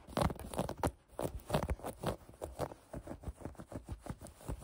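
Long painted nails scratch a folded maroon cotton knit sweatshirt held on a table, giving about fourteen quick, soft, dull scratching strokes. The rasps are muffled and low-heavy with little bright edge, each fading almost at once.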